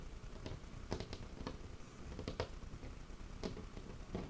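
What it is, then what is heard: Wooden table top. Fingertips and short nails tap and scratch the surface of a large, solid, dark wooden tabletop. Soft, dull taps with short, bright clicking edges rise irregularly over a low, quiet rustle of scratching.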